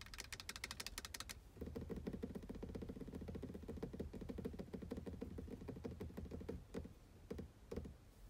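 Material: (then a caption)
Plastic. Long blue nails tap and scratch a black, solid, matte plastic car gear selector knob. A quick run of bright, dry clicking taps gives way after about a second and a half to a denser, lower rasping scratch that continues for several seconds, then ends in a few scattered taps. Each tap dies away almost instantly with no ring.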